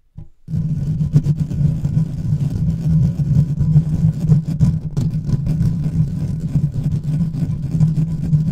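A large silver microphone with a hollow, uncovered metal mesh grille is scratched fast with the fingertips and short nails of both hands. After a brief faint start, a dense, steady low rumble with a droning hum near 145 Hz sets in. Quick scratchy bursts flicker through it, and the sound carries almost no high or bright content.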